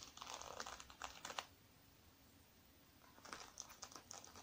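Fingertips and nails scratch and rub across the sequins of a small, closed, soft, black sequin-covered fabric zippered makeup bag held on a wooden table. Crisp, bright crinkling and rustling comes in quick bursts, goes quiet for about a second and a half, then picks up again.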